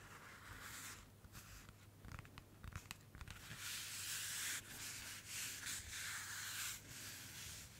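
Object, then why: Paper-covered notebook. Long nails of both hands rub and scratch the cover of a thin white paper-covered notebook printed with eyes, held up close. A dry, bright papery hiss is broken by quick sharp scratches early on, then settles into sustained, louder rubbing strokes over a faint steady low hum.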